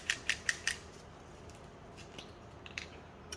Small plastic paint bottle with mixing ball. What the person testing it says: give it a shake until you can hear the ball